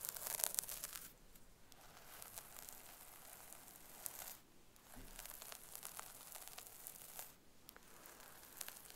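Long acrylic nails scratch and rake through the hair near the parting of a brown wig on a mannequin head resting on a pink cushion. The result is quiet, bright, crackly scratching and crinkling in continuous passes, with brief softer pauses between strokes.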